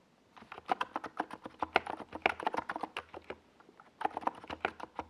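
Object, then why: Plastic mechanical keyboard. A compact 68-key NiZ Plum Atom 68 mechanical keyboard with a white plastic case and purple and yellow Domikey Gas Attack SA plastic keycaps sits on a desk pad while fingertips of both hands type fast across the keys. The result is a quick run of short, dry plastic clacks, about two dozen separate keystrokes with a brief pause before the typing resumes.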